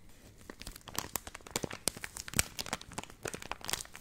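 A purple laminated plastic milk powder pouch is handled at its top corner, crinkled and scratched with long nails. Quick, sharp, bright crackles and crinkles come in a dense, uneven stream, with no ringing after each one.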